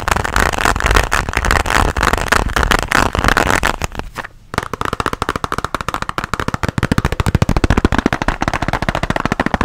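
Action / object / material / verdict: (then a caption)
tap / hard plastic pencil case with pens inside / hard plastic / none. A closed pink translucent hard plastic pencil case with pens inside is tapped with fingernails close to the mic. A dense flurry of quick, dry, clicky taps fills the first four seconds, then a brief pause, then a steady run of sharp, distinct taps continues to the end.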